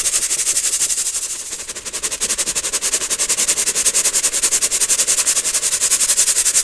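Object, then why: Metal mesh sieve with baking soda powder. A small round gold-coloured metal mesh sieve holding white baking soda powder and clumps is shaken or tapped rapidly over a clear plastic bowl so the powder sifts through. The result is a fast, steady train of bright, hissy rasps with almost no low end, dipping slightly in the middle before growing a little louder toward the end.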